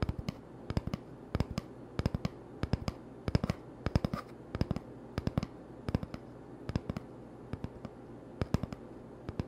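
An empty, hollow cardboard toilet paper tube held in the hand is tapped with the fingertips. The taps come as short, dull knocks, often in quick clusters, and each dies away almost at once. A faint steady low hum sits underneath.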